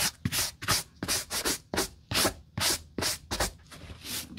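A large black DC work boot with a canvas and nubuck upper and a thick rubber lug sole is held in a gloved hand and dry-brushed with a natural-bristle wooden brush across its muddy toe and side. Thirteen quick, bright, breathy scrubbing strokes rise and fade at a brisk, slightly uneven pace, with a faint low thump at the start of some.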